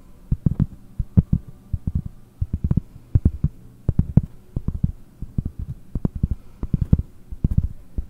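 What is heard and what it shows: Long painted nails and fingertips tap the surface of a large, round, solid cork trivet held close in front of a microphone. The taps come as rapid, uneven clusters of soft, dull thuds that are almost entirely low-pitched, each dying away instantly over a faint low hum.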